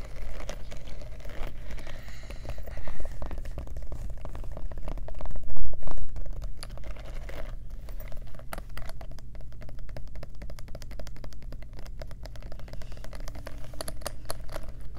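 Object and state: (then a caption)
Studded faux leather clutch purse. Long nails tap fast across a small black faux-leather clutch purse covered in metal studs and rhinestones, with a metal turn-lock clasp. It makes a dense, uneven stream of sharp, bright clicks over a steady low hum, with a few brief louder flurries along the way.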